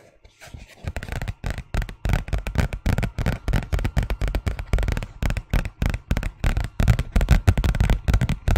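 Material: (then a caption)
Paper. A thin white paper envelope, held in both hands, is scratched and tapped with fingernails. It makes a rapid, irregular run of short, dry papery taps and scratchy rustles with very little ring, most of the energy sitting low.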